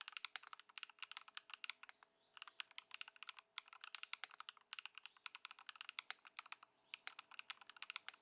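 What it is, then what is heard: Plastic mechanical keyboard being typed on. A white Ducky One 2 SF mechanical keyboard with plastic keycaps, modded with Lumia Matcha switches and Poron foam, sits on a dark mat on a wooden desk while both hands type on it continuously. The result is a steady stream of short, crisp, bright clicky-thocky keystrokes with almost no ring and no low rumble, with a few brief pauses between bursts.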